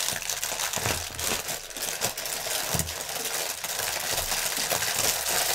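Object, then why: Polyethylene air pillow packaging. Fingernails scratch and press the film of a strip of inflated, clear polyethylene air cushions lying on a table, their hollow, air-filled pockets crinkling under the touch. A dense, continuous, bright crackling and scratching runs throughout, with occasional soft low thumps as the cushions are pressed.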